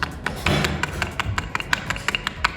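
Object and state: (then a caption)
Hollow, loose wooden floor piece. Loose wooden floor pieces, exposed after the carpet was removed and still carrying some leftover glue, are tapped in a quick run of about fourteen sharp, short, hollow knocks. The dry, clacky taps sound hollow because the pieces are loose and not bonded to the floor beneath; some of them were later glued down.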